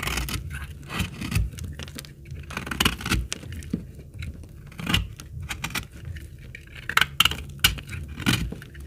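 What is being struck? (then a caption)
Laundry soap bar cut with a blade. A utility blade cuts shavings from the edge of a very old, dry, solid, dark brown, hard laundry soap bar held in the hand. Dry, crisp scraping strokes and brief crackly snaps repeat in irregular bursts, with bright high edges over a dull low thud and almost no ring after each cut.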